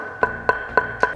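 The sweet spot of a wooden table tennis blade, from a comparison of the Viscaria and Lin Yun Ju Super ZLC, is knocked four times at an even pace. Each knock is a short, dry, hollow tap centred around 1 kHz that dies away almost instantly. The knock sound is very small, and the other side of the blade gives a different sound, which is tied to the hardness of the wood.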